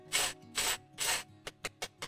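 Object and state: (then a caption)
Crispy baked casserole crust. Three long, bright rasping scrapes followed by four short, crisp scratches across the cheese-and-breadcrumb crust of an English vegetable casserole baked 40 minutes in the oven. The sound is dry and high-pitched, showing the top has turned nicely crispy.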